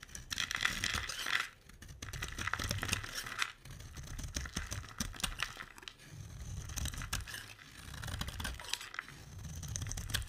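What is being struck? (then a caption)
Bar of soap. A utility knife blade scrapes curls off the edge of a solid, hand-sized green oval bar of dry soap. The result is crisp, bright crackling and shaving strokes over a low rumble, in several long passes broken by brief pauses.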